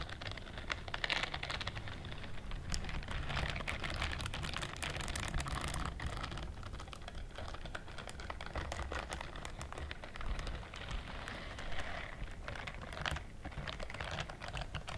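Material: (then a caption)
Silicone. A pink-white silicone dishwashing glove with bristle rows is worn on one hand while the long nails of the other hand scratch and rub the bristles. The result is a dense, continuous stream of quick, dry clicks and scratches with a bright edge, heard over a low steady rumble.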